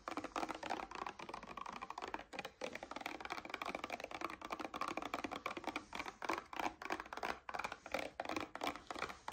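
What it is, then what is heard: Paperboard drink carton tapped and scratched with nails. A paperboard coconut water carton is held upright in both hands while long nails tap and scratch rapidly over its surface. The result is a dense, steady stream of dry, clicky taps with brief scratching, centered in the midrange with almost no low end and each tap dying away almost instantly.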